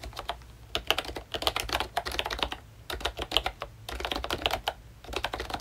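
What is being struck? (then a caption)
Plastic membrane keyboard with round plastic keycaps. Fingertips of both hands type on a full-size pink ROYCHE Disney Mickey Mouse retro keyboard with a plastic case, round dark green plastic keycaps and membrane switches. A quick, uneven run of short, dry plastic taps and clacks with a bright edge near 3 kHz dies away almost instantly, with brief pauses between bursts.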